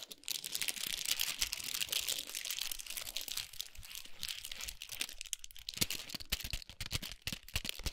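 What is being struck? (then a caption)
Chocolate bar in foil and paper wrapping. Long nails tap and scratch rapidly across a large chocolate bar wrapped in gold foil with a paper sleeve. The result is a dense stream of bright, crisp crinkles and short clicky taps with almost no ring, mostly high in tone.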